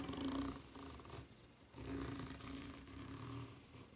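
Long nails scratch the serrated underside of a white ridged rubber flip-flop sole. The result is raspy, bright scraping in repeated bursts over a low, steady hum-like tone, rising and fading between strokes.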